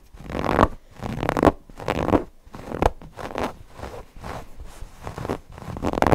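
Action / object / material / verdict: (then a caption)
scrape / stuffed cotton fabric cushion / cotton fabric / none. Fingernails scratch across the polka-dot cotton fabric and appliqué edges of a stuffed cotton owl cushion. The result is a series of soft, rasping scratch strokes in rhythmic bursts, with energy centered in the low mids and very little high end.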